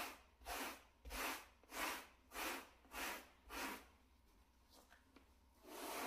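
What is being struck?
Shag carpet mat brushed with a bristle brush.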